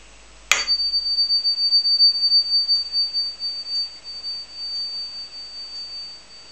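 A 9 karat gold ring is struck once and rings with a long, pure, tuning-fork-like tone. The high note holds steady and slowly wavers in loudness for about six seconds, the sound of genuine gold.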